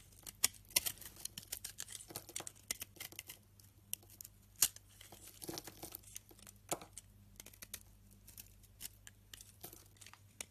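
A utility knife blade scrapes crumbly chunks off a solid white, rancid soap bar held in the palm. The result is a quiet string of dry, crisp, bright scraping and crumbling sounds with sharp short peaks over a faint steady low hum.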